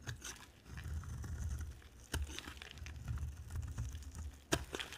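A utility-knife blade carves and scrapes a solid white bar of dry soap with an orange layer. The steady, low, rough scraping strokes are broken by a few sharp, bright crisp snaps as pieces break away.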